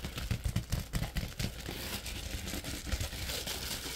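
Fingers bend and shake an empty orange padded plastic bubble mailer envelope, crinkling the plastic. Soft low thumps and sharp crackles come close together early on, then settle into a steady, dense, bright crinkling rustle.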